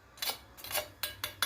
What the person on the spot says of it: اسمعوا بقى صوت القرمشة الجميل ده.